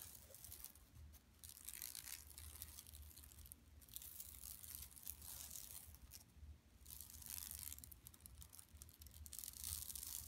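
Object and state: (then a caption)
Woven plastic mesh bag being scratched. Long nails scratch with both hands across an empty, large, flat yellow woven plastic mesh tote bag lying on carpet. The result is a continuous, bright rasping and crinkling scrape that swells and fades in waves over a low, steady rumble.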